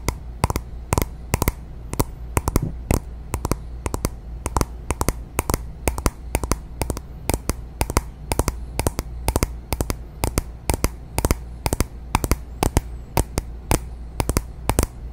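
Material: Glass.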